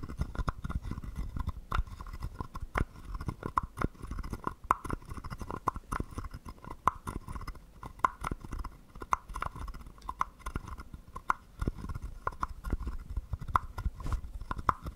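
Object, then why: Carved wooden frog guiro scraped with a stick. A wooden stick is drawn over the ridged back of a small, hollow, carved wooden frog guiro, scraping it repeatedly. Quick clicky rasps sound over a steady, woody tone near 1 kHz and a soft low rumble, with each short stroke dying away almost at once.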